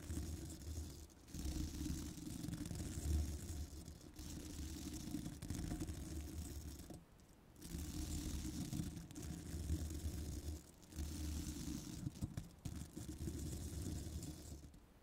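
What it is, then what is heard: Metal microphone mesh grille being brushed. A small bristle brush is dragged across the upper mesh of a hollow metal microphone grille while nails hold the mic. It makes a dense, scratchy rustling that is heavy in the low end, with a faint bright hiss on top. The sound comes in long sustained passes broken by brief pauses.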